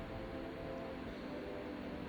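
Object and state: Nothing is struck.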